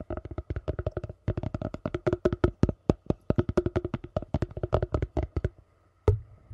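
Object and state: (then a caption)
Plastic food container. Gloved fingertips rapidly tap and scratch a glossy yellow hollow plastic food container held upside down in front of the mic, producing about forty short, dry, hollow knocks in quick bursts. After a brief pause near the end, one sharper tap is followed by softer scratching.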